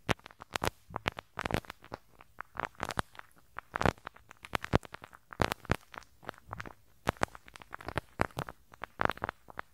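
A pink rubber-bristle brush scratches and rubs across the small hollow metal mesh grille over the right capsule of a handheld stereo recorder. The result is a rapid, irregular stream of sharp crackling, popping scratches with a soft low thump beneath them, each one dying away instantly.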